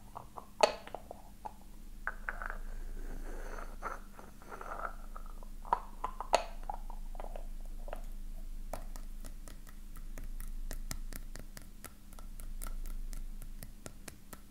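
A small, ornate, hollow silver-coloured metal filigree openwork box is held and lightly tapped and scratched with fingertips and nails. Soft scratching rustles and a few sharp taps in the first half give way to a quick run of light, crisp clicks. A faint low hum sits steadily underneath.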